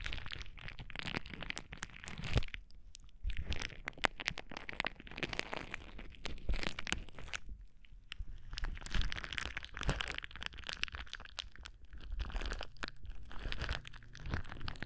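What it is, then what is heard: Plastic bubble wrap. A sheet of clear plastic bubble wrap, held against the microphone, is crinkled and squeezed with fingertips, producing dense, dry crackling and crunching with heavy low thumps from handling. The rustling runs nearly continuously, easing into brief quieter gaps before picking back up in bursts of bright, sharp crinkles.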